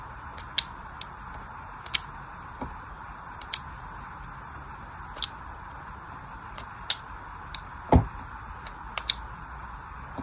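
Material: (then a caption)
Soap. A blade tool scratches scored cuts into the surface of a solid orange bar of soap already marked with crosshatched lines. Fifteen short, crisp scraping ticks with bright, crackly edges are spread irregularly over a steady soft hiss, with one heavier, fuller scrape near the end. Each cut dies away almost instantly.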